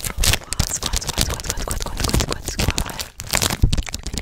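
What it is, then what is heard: Plastic-wrapped paper poster pack. Fingertips with medium-length nails grip, rub and crinkle the clear plastic film sealing a flat Hello Kitty paper poster pack held in both hands close to the microphone. The result is a dense, continuous run of crisp crinkling and tearing-like scratches, with sharp bursts throughout and a brief lull near the three-second mark.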